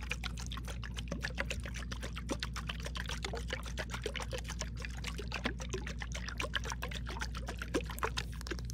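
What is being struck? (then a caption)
Glass jar with metal lid. Long pink acrylic nails tap and click on a clear glass mason jar with a metal screw-on lid, which is hollow, holds some water, and is held sideways in both hands while being tilted and shaken. Rapid, irregular, bright clicks and taps run over a steady low hum, with the water sloshing inside.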